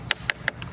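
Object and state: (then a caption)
Hollow burned tree bark. Four quick taps on fire-burned bark of a section of the Lahaina banyan tree give short, bright, hollow knocks with almost no ring. The hollow sound shows the bark has separated from the wood and will all come off, and the section may not come back.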